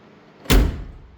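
A 1964 Volkswagen Beetle's steel door, lined inside with Dynamat sound deadening and with its door panel not yet reinstalled, is shut once with a deep, solid thud. The low boom is heavy and decays quickly instead of ringing. The result is a marked improvement over the tinny, drum-like sound the door made before the deadening was added.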